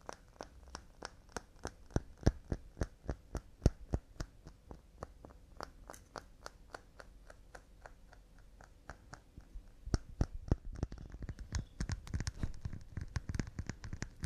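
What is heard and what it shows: Fast, delicate tapping on pine wood cups, about three light taps per second in an uneven rhythm. Each tap is short and dry with almost no ring, with a low, woody body and a bright click on top. The taps ease off briefly in the middle, then return louder and denser toward the end.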